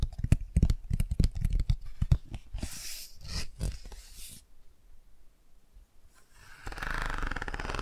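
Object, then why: Cardboard board book with textured patches. Long nails and fingertips scratch the textured bicycle and car pages of an open cardboard board book, starting with quick, low, dull taps. Several bright, breathy scratching bursts follow before a quiet pause. The clip ends with a steady, hissy rubbing as a hand rubs the car patch.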